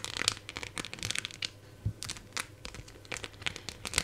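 Long nails scratch along the edges of a phone in a clear plastic case with raised silver decorations, held in both hands, and tap the embellishments. The result is a quiet run of bright, crinkly scratching with quick, dry clicky taps that stop dead with no ring.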